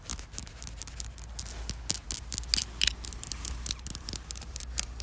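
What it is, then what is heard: Rough concrete surface. Long black fingernails tap and scratch a rough, weathered, solid concrete slab outdoors. The result is a quick run of sharp, bright clicks and gritty scrapes over a steady low hum.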